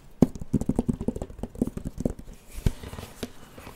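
Fingertips tap and scratch the glowing flat screen of a handheld plastic light-up drawing pad with a white plastic frame, held close to the mic. Quick, dry, low-pitched taps come in an uneven patter with short scratchy brushes between them, each dying away almost instantly.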